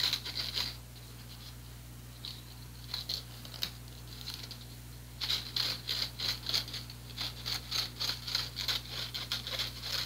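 Fingernails scratch the fine mesh of a small, empty, teal plastic-framed strainer, making dry, bright rasping bursts with a high, hissy edge. A short flurry of scratches gives way to a quieter stretch with a few scattered strokes, then quick, irregular scraping resumes over a faint low hum.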